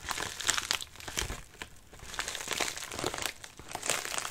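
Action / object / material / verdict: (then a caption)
scrape / padded paper mailer / paper / none. Fingertips and nails scratch and rub the crinkly, wrinkled outer layer of a medium white padded mailer lying on a lap. Continuous bright crinkling and rustling rises and falls, with many quick crackles and little low-end weight.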